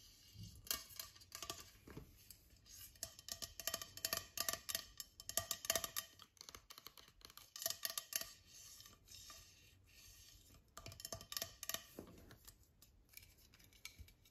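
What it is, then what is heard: Aluminium aerosol spray can. A tall white Avène thermal water spray can, a hollow aluminium aerosol about 20 cm tall, is tapped and scratched with fingertips and nails, first while it lies on a bed and then while held in the hand. The sound is a run of quick, bright metallic taps and crisp scratches that come in irregular bursts with short pauses. They fade fast with little ring and sit mostly in the high frequencies.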